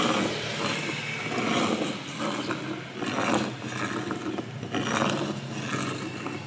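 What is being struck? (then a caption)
Small stone rubbed on a large rock. A hand rubs and scrapes a small grey loose stone across the flat face of a large, solid grey-brown rock on the ground. The stone-on-stone contact makes a continuous gritty, rasping scrape that swells and fades with each stroke, with bright hiss over a low grinding texture.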